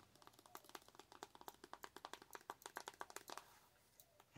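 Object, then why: Soft plastic tube of facial cleanser. Long acrylic nails rapidly tap and scratch a full, hand-sized pink soft plastic tube of Hello Kitty double cleanser. The result is a quick run of crisp, dry clicks with bright edges and a mid tone near 950 Hz, each dying away almost instantly. The tapping stops about three and a half seconds in, leaving faint scratching and a final soft tap.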